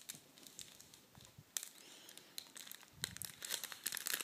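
A large folded sheet of red metallic foil tissue paper on a table is smoothed and unfolded with fingertips and nails. It gives a steady run of bright, crisp crinkles and sharp crackles with little low end. The crackling grows denser and louder toward the end.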